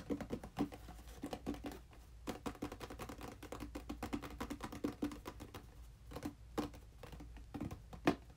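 A small, hollow, red printed cardboard controller box is held in both hands and turned while being tapped rapidly with fingertips and nails. The result is quiet, quick, irregular patter of light hollow taps and nail clicks with a dull mid-low tone around 290 Hz. Each tap dies away almost instantly, with brief pauses between bursts.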